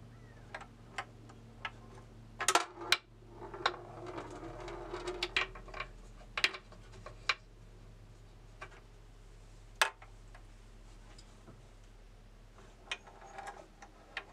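A bamboo labyrinth tilt maze is tilted with fingertips on its knobs, rolling a steel ball along the board. The ball rumbles softly and strikes the wooden maze walls in a series of sharp, bright taps spread across the clip, over a faint steady low hum.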